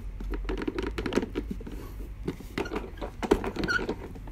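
Fingertips tap and scratch across the raised round studs and curved yellow rim of a medium-sized orange and yellow molded plastic box or case, likely hollow. The result is a quick, irregular patter of light, dull taps with short scratchy strokes, centered in the low mids and dying away almost instantly.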